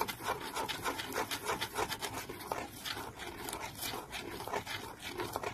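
Fingernails scratch the lid of a small, decorated, printed cardboard box held in one hand, making fast, dry, bright scraping strokes. The strokes come in an uneven rhythm, about three per second, with a raspy, papery texture and almost no low end.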